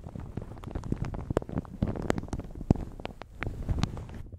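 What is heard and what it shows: Long red nails and fingertips scratch, crinkle and grip a light blue plastic shower cap stretched over a large hollow microphone. The result is a dense, low, rumbling crinkle dotted with sharp, bright crackles.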